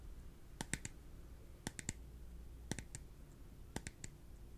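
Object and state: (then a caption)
Clear plastic cup. A small, empty, translucent clear plastic cup is held in the hands and tapped with the fingertips and nails. Twelve short, dry clicks come in four groups of three, each a bright tick with almost no ring, over a quiet low hum.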